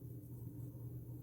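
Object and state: Nothing is struck.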